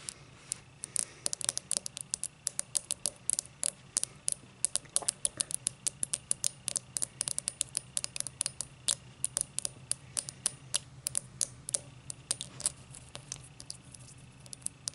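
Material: Crystal glass.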